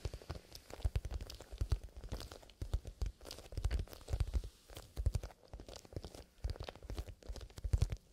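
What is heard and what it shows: Bare fingertips poking out of fingerless gloves scratch and rub the side of a small, soft, hollow black pebbled leather pencil case with a metal zipper; its contents are not visible. The result is dense, quiet scratching and crackling in rhythmic bursts, with a low, muffled thumping body and little high-end brightness.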